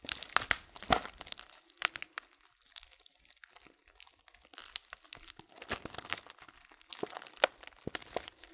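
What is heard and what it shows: Fingertips crinkle a transparent plastic bag full of loose dried fruit tea and squeeze the contents inside. Bursts of bright, sharp crinkling and dry crunching snaps come and go, with quieter stretches of soft rustling between them and almost no low end.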